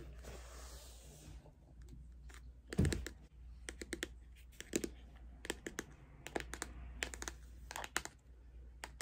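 Long acrylic nails tap and scratch a closed, hand-sized, flat pink Too Faced Pretty Rich cardboard-covered eyeshadow palette. A soft scratchy rustle opens the clip, followed by scattered sharp, dry clicking taps with very short decay over a steady low hum.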